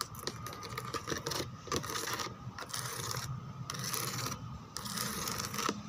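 Long nails scratch across the textured relief of a white plastic chair backrest embossed with roses and grid holes. The result is a run of bright, crackly scraping bursts with short pauses between strokes and a faint low hum underneath.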